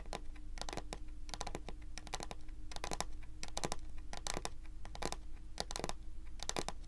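Long pointed acrylic nail tips tap and scratch across a large, solid, glossy dark brown wooden table top. Quick, bright clicks and short scraping bursts come in irregular clusters over a steady low hum.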